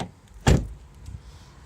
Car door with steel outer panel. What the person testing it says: you hear the normal hollow sounds now